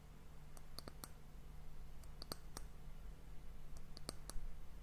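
Long fingernails tap the surface of an hourglass's solid, varnished brown wooden disc end cap. Short, sharp clicks with bright high overtones come in small irregular bursts over a steady low hum. Each tap dies away almost instantly.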